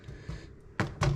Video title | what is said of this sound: How to bake Soda Bread | taps very nice and hollow